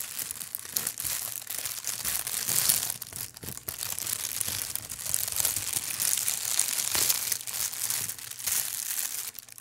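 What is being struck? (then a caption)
Thin plastic bag. A long, thin, empty translucent plastic bag is held up and crinkled and rubbed by hand. It makes a steady, bright crinkling with dense crackles and brief dips in loudness throughout, and almost no low end.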